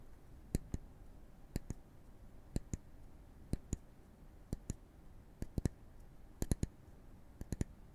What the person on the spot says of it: ابتدا، دوباره توجه خود را روی این صدای تق تق که می‌شنویم متمرکز می‌کنیم. این صدای ضربه زدن به چوب است.